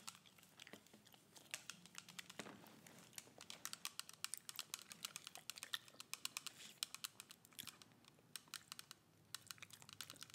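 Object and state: Plastic spray bottle.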